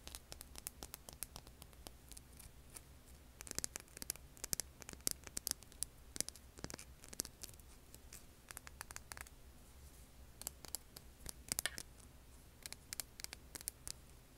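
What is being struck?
Rough stone.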